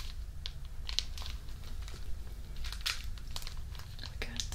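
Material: Plastic film.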